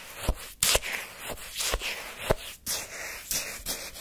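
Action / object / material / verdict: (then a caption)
scrape / frozen sherbet in a paper cup scraped with a wooden stick / ice / none. A wooden stick scrapes and churns the icy granules of frozen orange shaved-ice sherbet in a paper cup. Sharp, bright crunching strokes cut through a steady gritty, hissy scraping. Each stroke stops short with almost no ring.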